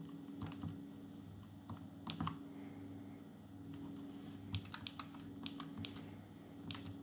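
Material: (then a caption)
Plastic. Fingertips of both hands type fast on the plastic keys of an open Atari Portfolio, a small dark grey plastic palmtop computer with a hollow plastic body. The result is quick, bright, clicky taps, some in short bursts, over a steady low hum.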